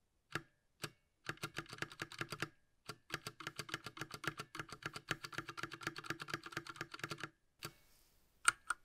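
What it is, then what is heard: Plastic mechanical keyboard. A small 60% mechanical keyboard with a light blue plastic case and plastic keycaps, the Ducky Mecha Mini Frozen Llama Edition, is held in gloved hands while its space bar is pressed repeatedly with a gloved fingertip. Quick, dry plastic clacks come in fast bursts with brief pauses between them, centred in the mid range with a bright top, and two sharper clicks close the clip.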